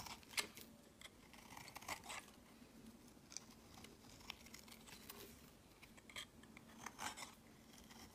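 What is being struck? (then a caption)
Bar of soap shaved with a blade. A solid olive-green bar of soap is held in the hand and shaved with a utility-knife blade, producing flaky shavings. Quiet, crisp scraping strokes are heard, bright and short with little low end, over a faint steady hum.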